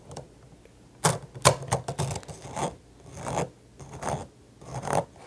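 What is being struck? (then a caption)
Plastic coil spring toy. A small, hollow, rainbow-colored plastic slinky coil spring toy is held in the hands, stretched, shaken and let clack together, then set on the desk. Sharp, bright plastic clacks come in a quick cluster, followed by softer raspy, rubbing swishes of the coils that rise and fade in several waves.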